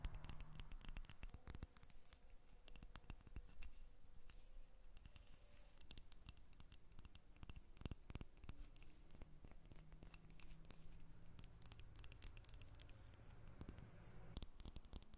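Long fingernails scratch and tap the surface of a solid cream-colored bar of soap stamped "Jasmin" held in the hands. The result is a quiet, steady stream of rapid, sharp clicks and dry scratching over a low, constant hum.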